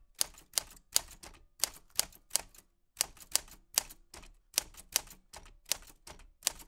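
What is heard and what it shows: A black 1940s Smith-Corona portable typewriter with a metal body and round keys, paper loaded, is typed on by white-gloved fingertips pressing the keys. Sharp, bright key clicks and typebar strikes snap out in a steady, uneven rhythm, each dying away almost instantly with very little low end.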